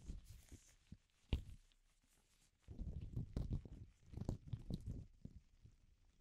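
A single loose, empty, cream-coloured thin latex glove is held up by its cuff close to the microphone and shaken and crinkled with the fingertips of a bare hand, never touching the microphone. Soft, low, rubbery crinkles and muffled rustling come in quiet bursts: a sharp pop near the start, a near-silent pause, then a denser stretch of crinkling that thins out toward the end.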